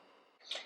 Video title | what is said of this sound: Polish Easter Bread HD 1080p HD 1080p | just tap the top of the roll and get a hollow sound